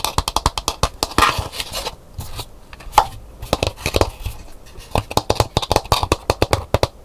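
Long nails tap and scratch inside a hollow, empty calabash gourd bowl with a painted hibiscus interior, standing upright on a table. Quick, dry taps with a hollow mid-range knock come in rapid bursts, broken by brief scratchy scraping passages. Each tap dies away almost at once.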